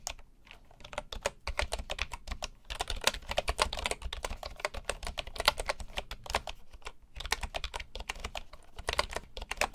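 Both hands type with the fingertips on the wooden keys of a full bamboo keyboard. It makes a steady stream of short, dry, clicky taps with bright edges and a soft low thump. The rapid typing continues with only brief pauses.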